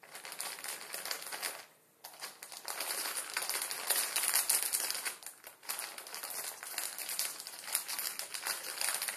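A full Maruchan instant ramen packet, plastic film over a dry noodle block and lying flat on a wooden table, is scratched and crinkled with fingertips. The result is dense, bright, crackling plastic crinkles with no low end, broken by a brief near-silent pause around 2 seconds and a short dip around 5.5 seconds before the crinkling resumes.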